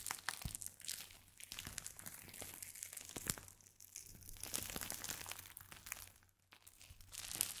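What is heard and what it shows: A small clear plastic pouch filled with purple crinkly or beaded material, with a small chalkboard tag clipped on top, is held in both hands and squeezed and scratched with the fingertips. It makes a steady, bright, high crinkling and rustling, with many small crackles and a brief quieter dip near the end.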